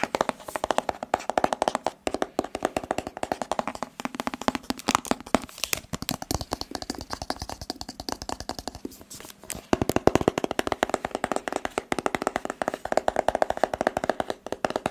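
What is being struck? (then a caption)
Rigid cardboard phone box. A hollow white rigid cardboard smartphone box is held in the hands and tapped rapidly with fingertips and nails. The result is a dense, continuous stream of short, dry, crisp taps with almost no ring, broken by a brief pause about two-thirds of the way through.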